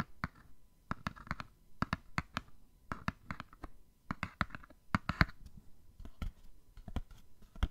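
Fingernails tap on a small, hollow printed cardboard gift box. It gives a quick, irregular run of short, dry clicks, each with a soft, low hollow thump and almost no ring.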